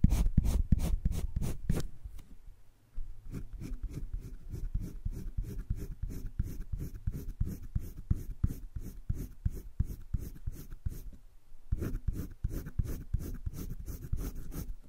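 A green wooden colored pencil, held in the fingertips, is rubbed and scratched in shading strokes across an open spiral-bound sketchbook page of thick cream drawing paper lying flat. Quick, rhythmic scratchy strokes repeat steadily, louder and denser at the start, then a brief pause near three seconds, then a long run of even strokes before a louder burst near the end.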